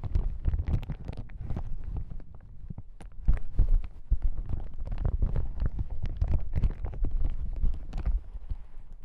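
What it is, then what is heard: Plastic hazmat suit being scratched and crinkled. A yellow plastic hazmat suit lying on a table is scratched with fingertips, then lifted and crinkled. The result is a dense run of soft, dull rustles and scratchy crackles, mostly low and muffled with bright transient edges.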